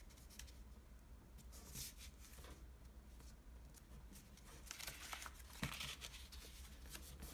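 A folded sheet of green floral washi origami paper is creased and rubbed along its edges by fingertips and nails on a table. Soft, irregular papery scrapes, crinkles and brief bright ticks come over a steady low hum.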